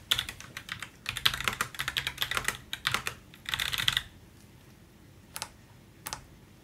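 Gloved fingertips type on the plastic keycaps of a backlit Roccat Vulcan 122 AIMO mechanical gaming keyboard with an aluminium plate, in a dark room. For about four seconds, a rapid run of bright, short clicks and clacks rises and falls in clusters. After a quiet pause, one hand presses two separate keys on the right side, each a single crisp click.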